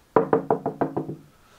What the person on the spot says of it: so it sounds like there's something there in the middle